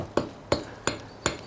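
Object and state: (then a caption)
Hard freshly cast bronze axe head. A newly cast Bronze Age-style bronze axe head, just out of the mould and cooled in water, is tapped four times on the floor. Each tap is a sharp, bright clink with a short ring, and the sound shows how hard the metal is.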